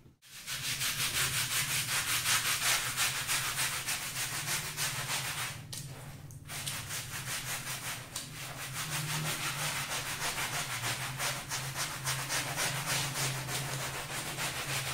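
A small, round beige plush pile rug, soapy and wet and lying on a pebble-tile floor, is held down by one hand and scrubbed back and forth with a small handheld brush. The result is a steady, bright, scratchy rubbing with a quick repeating rhythm of strokes and a low hum underneath. The scrubbing briefly quiets around the six-second mark before picking back up.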